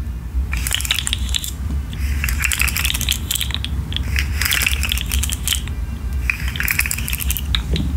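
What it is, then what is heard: Plastic fidget slug toy. A rainbow articulated plastic fidget slug is shaken and flexed by hand, making its segments click. Bursts of sharp, bright, dry clicks come in rapid clusters over a steady low rumble, with brief pauses between the rattling runs.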